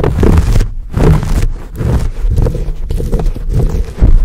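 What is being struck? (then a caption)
Foam microphone windscreen. Both hands grip a dark, fuzzy, hand-sized foam microphone windscreen, rubbing and scratching it with fingertips and nails. The result is a close, muffled scraping and rumbling, heavy in the low end with almost nothing bright, swelling and easing in uneven bursts throughout.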